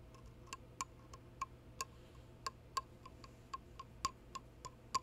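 Fingertips and painted nails, covered by fingerless lace gloves, tap the stem and then the body of a hollow, empty, ornate dark cast-resin goblet with red dragon panels, a steel rim or liner and a red gem on the stem. Fifteen quick, dry ticks sit around 1 kHz, spaced unevenly and dying away almost at once. A steady low hum runs underneath.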